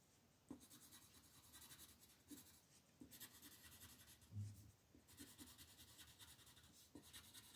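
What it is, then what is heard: Colored pencil on paper. A yellow wooden colored pencil colors small shapes along the border of a flat printed paper coloring sheet resting on a table. Quiet, steady scratchy strokes carry a bright, hissy texture that swells and fades in bursts, punctuated by a few soft low taps as the pencil meets the paper.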